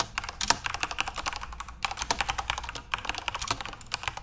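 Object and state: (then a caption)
Plastic keyboard typing. Fingertips type continuously on a backlit plastic Corsair mechanical RGB keyboard. The result is a steady, uneven run of short, bright clacks with very little low end. Each keystroke stops almost instantly, with no ring.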